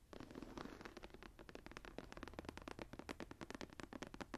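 Long nails scratch and tap across the raised geometric star emboss of a closed dark brown leather journal lying flat. A quick, steady run of short, dry, scratchy taps follows with no ring after each one.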